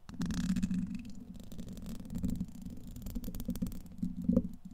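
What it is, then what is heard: Metal mesh microphone grille. A thin black makeup brush handle, held by the fingertips, has its tip scratched and dragged across the hollow, domed steel wire-mesh grille of a large condenser microphone. The result is a continuous low, rumbling scrape with a steady hum near 200 Hz, broken by quick dull scratches that swell and fade over several seconds.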